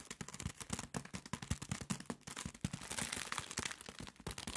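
A soft package sealed in thin plastic film is held in both hands and squeezed and rubbed with nails and fingertips. It gives a rapid, dense run of crackly crinkles with a bright, hissy rustle and soft low thumps from handling. Near the end the crinkling blends into a steadier, brighter rustle.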